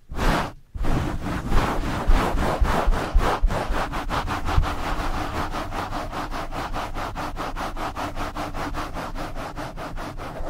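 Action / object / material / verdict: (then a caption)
scrape / foam microphone windscreen rubbed with nylon mesh gloves / foam / none. Nylon mesh scrub gloves cover the top and sides of a black foam windscreen on a blue microphone and rub it fast and hard. The result is a dense, scratchy swishing with a heavy low rumble, broken by a brief silence near the start. The strokes then become rapid, rhythmic and steady.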